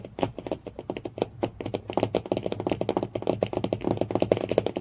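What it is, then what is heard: Hardcover book cover tapped with nails. Fingernails tap rapidly on the cardboard cover of a hardcover book. The taps are dry and hollow, centred in the low mids around 465 Hz, and each stops almost instantly. They form a fast, uneven patter like typing on a keyboard.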